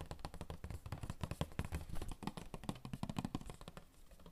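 Fingertips rapidly tap the sides of a hollow, rectangular printed cardboard Royale tissue box held in the hands. The result is a fast, continuous patter of dull, low, hollow taps that stop almost instantly with no ring.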